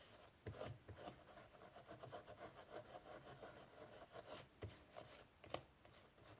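Fingers rub a tissue over the raised straw pattern on the closed lid of an ornate, hollow, octagonal woven straw basket with a braided rope border. Soft, dry, scratchy rubbing strokes repeat in a steady rhythm, with a few sharper, louder scrapes standing out.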